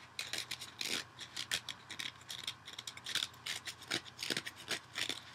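A dual-layer kitchen sponge of yellow foam with a green abrasive scouring layer is held over a bowl and scratched and picked at with fingernails, possibly being torn. It makes a quick, irregular run of short, dry, bright rasping scratches with almost no low end. Each scrape stops sharply against a quiet background.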